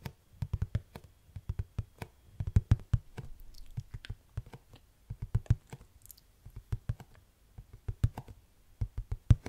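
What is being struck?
Rigid plastic detergent pod tub.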